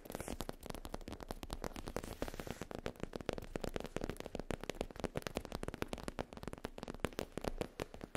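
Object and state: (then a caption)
Faux leather pouch tapped and scratched. Long nails tap and scratch across a soft, flat black faux leather zip pouch with an embossed logo. The result is a dense, steady run of quick, dry clicks and scuffs with almost no ring, and the low body sits beneath brief brighter ticks.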